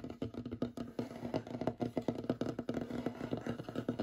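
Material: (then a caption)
Wood. Fingernails of both hands rapidly tap and scratch a large, solid, light wooden tabletop. The result is a quick, dense patter of short, dry knocks with a woody mid-low tone and almost no ring, mixed with soft scratching between the hits.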